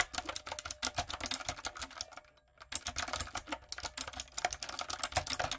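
Fingertips and long nails type quickly on a light-up, typewriter-style retro mechanical keyboard with round plastic keycaps, making a dense run of sharp, bright clicks and clacks. There is a short pause of about half a second in the middle, and then the typing resumes at the same brisk pace.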